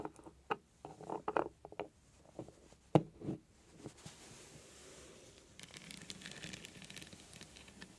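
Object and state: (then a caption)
Metal beaded heart trinket box. Long nails tap and scratch a small, hollow heart-shaped metal trinket box with a beaded lid and glittery sides, resting on a cloth. Quick, dry clicks and taps come in uneven bursts over the first four seconds. They give way to a soft, continuous scratching hiss with a faint bright edge.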